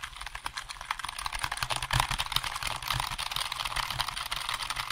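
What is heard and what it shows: A hollow black plastic computer keyboard is held up near the microphone while fingertips press and tap its keys quickly. The result is a dense, continuous stream of bright, short plastic clicks with a faint low thump under some strokes, each tap dying away almost at once.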